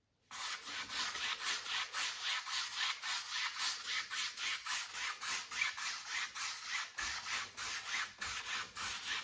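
A wide flat paint brush is rubbed in horizontal strokes across the lower area of a stretched cotton canvas on a wooden frame, set on an easel with hollow space behind the fabric. The rapid, steady back-and-forth strokes, about three or four per second, make a bright, dry, rasping hiss with almost no low end.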